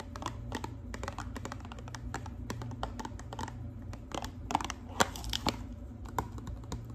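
Long pink acrylic nails tap and scratch the sides of a small, hollow pink and white cardboard hair dye box held in the hands. Quick, dry clicks with short scratches run through the clip over a steady low hum, and a few sharper taps stand out near the end.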